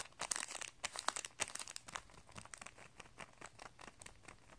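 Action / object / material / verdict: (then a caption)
scrape / plastic packet with paper insert and coiled metal strings / plastic / none. A hand presses, rubs and crinkles a clear plastic packet of guitar strings, holding a paper insert and coiled metal strings, as it rests on carpet. Rapid, bright, crisp crinkles and crackles come in dense bursts, loudest in the first two seconds, then settle into softer, scattered rustling.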